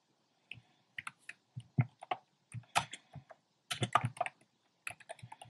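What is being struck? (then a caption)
Plastic mechanical keyboard. Fingertips with short painted nails type on a compact plastic mechanical keyboard with round pastel plastic keycaps in a dark frame. Short, dry keystrokes combine a low thock with a bright clack and die away almost at once. They come in quick, uneven bursts separated by brief pauses.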